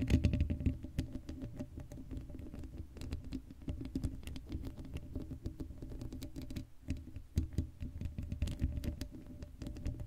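Long acrylic nails scratch the hollow black steel mesh grille of an uncovered Blue Yeti microphone. The result is a dense, rapid patter of short scratchy ticks over a boomy low rumble, with a faint steady tone running underneath. It stays fairly even for the whole ten seconds, with a brief dip around the middle.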